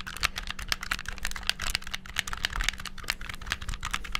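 Fingertips rapidly press the buttons and triggers of a black, hollow, handheld plastic game controller, producing a fast, dense stream of sharp, bright plastic clicks. The clicks are very short and dry, with no ring after each one, over a steady low hum.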